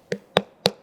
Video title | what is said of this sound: తెల్ల పుచ్చకాయ vs నల్ల పుచ్చకాయ - Vikram Aditya - Watermelon Health Benefits In Telugu - BRK Health | filling ఉన్నట్టు fill ఉంది పూర్తిగా ఫిల్ అయి ఉంది